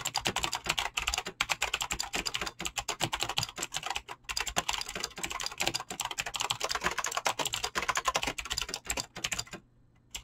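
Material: Plastic.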